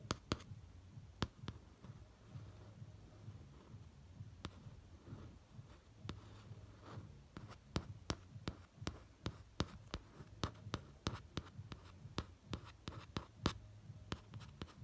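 A single fingertip traces around the eye outline printed on the glossy cover of a laminated cardboard hardcover notebook, close up. Soft, dry brushing is broken by many short, sharp clicks and taps with very little ring, all over a low, steady hum.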